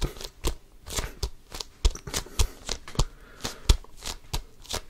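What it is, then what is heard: Composite leather basketball being scratched and gripped. Fingertips scratch and grasp an inflated basketball with a pebbled composite leather cover, close to the mic. Roughly eighteen quick, dry scratching bursts come one after another, each with a faint low thump and a bright, hissy texture that dies away almost instantly.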